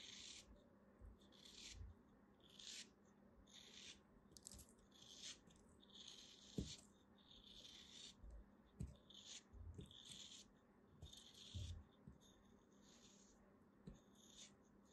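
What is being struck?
Kinetic sand block.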